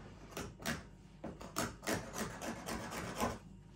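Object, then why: Laminated particleboard panel. A small hand file or edge-trimming tool is rubbed along the front edge of a large, flat, solid lime-green laminated particleboard panel lying on a workbench, working the laminate edge banding. About nine short, irregular rasping strokes scrape across the edge, each a dry, bright woody rasp that stops quickly with little ring.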